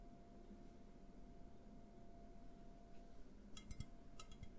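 An A&W aluminum drink can is tapped with fingertips while upright and then tilted in the hands. A quiet, steady low hum with a faint constant tone fills most of the clip before six short, bright metallic ticks arrive near the end. Each tick dies away almost instantly.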